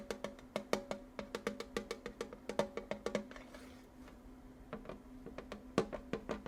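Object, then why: Small metal tin. Fingers tap a small Wicked-themed metal tin with munchkins on it and in it, making about thirty quick, bright, clicky taps with a faint tonal ring near 450 Hz. The taps come in a steady run, pause for about a second and a half with only a soft rustle, then resume. Each tap dies away almost instantly.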